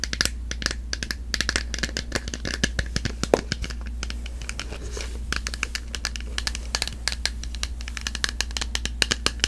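Long manicured nails tap and scratch a small, hollow, clear plastic jar with a barcode label, held in both hands. Dozens of quick, dry clicks and ticks come in rapid irregular bursts, mixed with brief scratchy rasps over a steady low hum.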